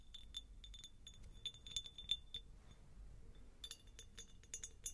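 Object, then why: Faceted glass jar. Long nails tap a medium, hollow, empty faceted cut glass jar held near the microphone, producing quick, irregular, bright clinks centred around 3.5 kHz. The clinks die away almost instantly, pause briefly in the middle, then resume over a low background rumble.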